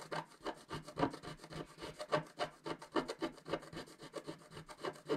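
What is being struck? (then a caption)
Coated scratch-art card scraped with a wooden stylus. A wooden stylus scratches continuously across a flat coated scratch-art sheet. It makes dry, rasping strokes that rise and fall in quick, uneven succession, about four per second, mostly in the midrange with a faint bright edge.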